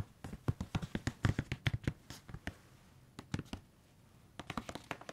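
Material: Plastic.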